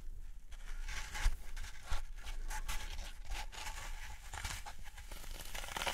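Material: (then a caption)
Floral foam. Fingertips press and poke into the top surface of a large rectangular block of dry green floral foam, solid and porous, resting on a wooden tray, leaving round dents. Soft, dry crunching and crinkling bursts follow one another with short, dull textures and a low rumble beneath. Each press snaps off quickly with no ring.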